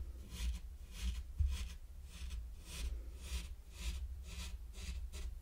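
A mini wooden rake is dragged back and forth through fine pink sand spread on a large, flat, heart-shaped wooden board. The result is a steady series of soft, gritty scratching strokes, each with a bright, airy hiss over a low, dull rumble.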